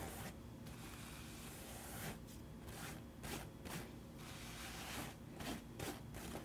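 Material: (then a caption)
Straw. Fingertips and nails scratch and rub the hollow crown of a wide-brimmed woven straw (paper-straw) hat held up toward the camera. The result is a quiet, dry, raspy scraping texture with bright, airy bursts over a steady low rumble, swelling in about six short strokes.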